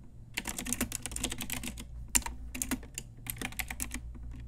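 Long nails and fingertips type on a pink Ajazz retro typewriter-style plastic mechanical keyboard with round plastic keycaps. Quick, bright clicky keystrokes come in uneven bursts over a faint steady low hum, with one sharper, louder clack just after two seconds. Each click dies away almost instantly.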